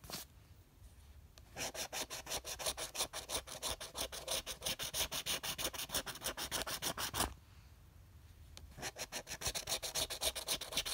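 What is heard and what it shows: A copper coin held in the fingers scratches the latex coating off the number spots of a flat, thin red card scratch-off lottery ticket with dollar symbols, resting on fabric. Rapid, bright rasping strokes run for several seconds, pause briefly in near quiet, then start again.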